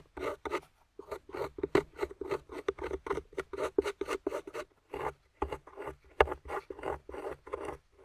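A metal pick, held by long-nailed fingers, scrapes across a grey plaster fossil dig block with yellow fossil bones set in it. About twenty short, dry, gritty scraping strokes come in quick bursts with brief gaps between them. Each stroke cuts off sharply with almost no ring.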